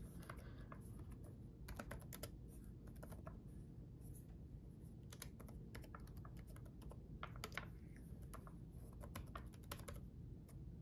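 Fingertips of both hands type on a red-backlit plastic laptop keyboard with chiclet keys. Quick, bright key clicks come in irregular bursts over a steady low rumble, each click dying away almost at once.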